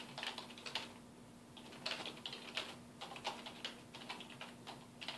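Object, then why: Plastic computer keyboard. Fingertips type on a black plastic computer keyboard resting on a wooden desk. Bright, crisp key taps come in quick bursts, broken by some slower clicking and short pauses. A faint steady low hum sits underneath.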